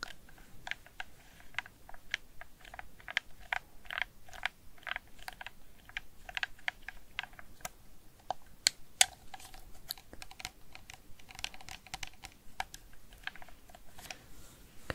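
A red hard-plastic PS4 DualShock 4 gamepad, hand-sized and hollow, is held in both hands while fingertips and nails press and click its D-pad, face buttons and thumbsticks. The result is a quiet, steady stream of short, sharp, bright plastic clicks that die away almost instantly, with some louder taps standing out.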